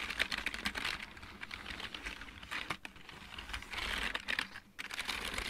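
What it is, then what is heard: Plastic mechanical keyboard. Fingertips type on a full-size backlit plastic mechanical keyboard, producing a quick, uneven stream of bright, clicky key taps. Each tap is sharp and dies almost instantly, with little low end. The typing briefly softens in the middle before picking up again.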